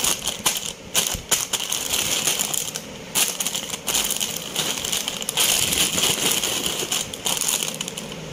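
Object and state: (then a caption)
Crinkly foil-lined chip bag. Fingertips tap, press and crush a blue Lay's crisp bag, a hollow foil-lined plastic bag partly filled with chips, while a yellow bag sits untouched nearby. Dense, bright crinkling and crackling comes in quick, dry bursts with almost no low end and very short decay, sustained throughout.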